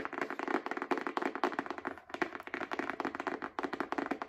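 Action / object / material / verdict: tap / small paperback book with card cover / paper / none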